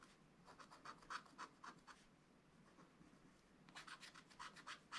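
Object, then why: Wax-coated scratch-art paper page. A wooden stylus scratches away the black layer of a black wax-coated scratch-art card page, thin and solid, in a spiral-bound book lying flat on a table, uncovering a zebra picture while the other hand holds the page. Quick, dry, bright scratch strokes come in two bursts, one in the first two seconds and another near the end, with a quieter stretch of faint scraping between. Each stroke is short and crisp, with no ring.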